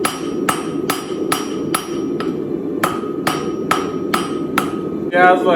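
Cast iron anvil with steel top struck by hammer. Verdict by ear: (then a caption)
Dull. A hammer strikes a Chinese-style turtle anvil with a hollow-bottomed cast iron body and a tool steel top about a dozen times at a steady pace. Each blow gives a short, dull clank that dies away quickly instead of ringing on, and the series ends in a brief, harsher burst of noise.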